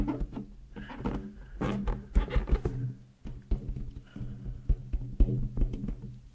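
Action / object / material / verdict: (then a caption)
tap / inflated latex balloon / latex / none. A large, hollow, air-filled pink latex balloon is held in both hands in front of a mic and tapped and rubbed with long nails and fingertips. Deep, boomy thumps with a low resonant hum mix with soft, squeaky rubbing in between, the taps sharp and short-lived.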